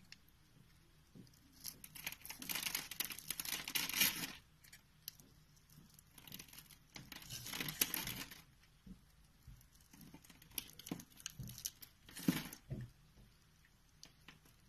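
A hand-sized pink bar of Fa soap with an embossed logo, held in the palm, is shaved with a green-handled knife, the blade carving small flakes off its surface. Bright, crisp scraping strokes come in several longer bursts over a soft background, with brief scratchy ticks between them. No verdict is given.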